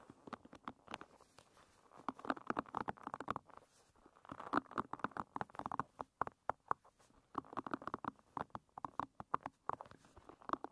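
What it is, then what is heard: Wooden pin hairbrush bristles. Long red nails scratch and flick across the tips of the dense wooden pins on a paddle hairbrush. The sound is quiet, rapid clicking and ticking, centered around 1 kHz, arriving in dense bursts separated by brief softer pauses.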